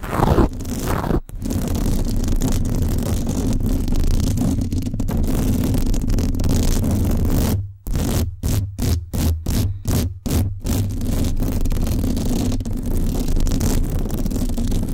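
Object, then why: Metal mesh microphone grille. Long acrylic nails scratch the hollow, black-finished metal mesh dome grille of a Blue Yeti Blackout microphone, making a dense, continuous raspy scraping with a strong low rumble. Around the middle the scratching breaks into a quick series of short, separated bursts, then returns to steady scraping to the end.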